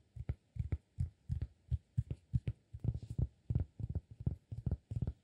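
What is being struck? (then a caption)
Cork disk. A round, flat, solid cork disk about the size of a palm is held in one hand and tapped and scratched on its surface and edge with fingertips and nails. The result is a steady run of soft, dull, low thumps, often in quick pairs or clusters, with almost no ring and a faint scratchy texture between taps.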